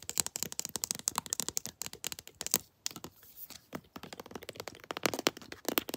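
A pink floral plastic lotion tube, held flat and then upright, is tapped with long nails in rapid, dense clusters of crisp, bright clicks with almost no ring. The tapping pauses briefly near the three-second mark, then resumes in softer, scattered taps before picking up again in sharper bursts toward the end.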